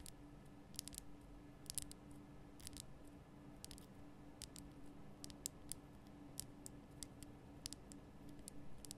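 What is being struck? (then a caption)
Rock-salt lamp. Long nails tap the sides of a large, lit pink Himalayan rock-salt lamp, a solid rough crystal block, making quick, sharp, bright clicks in an irregular series. The taps die away almost instantly over a quiet, steady low hum.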